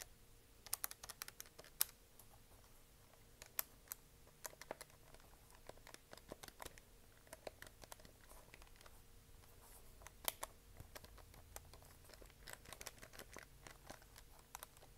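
Long nails tap and click the keys on the front of a hollow plastic desk calculator and tap its plastic back casing. The result is a quiet, irregular run of sharp, dry, bright clicks that stop almost instantly, over a faint low hum.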